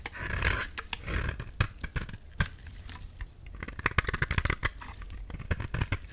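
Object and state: Dry soap bar being shaved.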